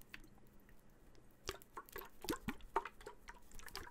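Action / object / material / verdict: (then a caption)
shake / small steel food can / steel / none. A small cylindrical steel food can with a blue and white label is held in one hand close to the microphone and shaken. Its liquid contents slosh inside, making quiet, irregular wet drips and sharp little splashes over a faint low hum.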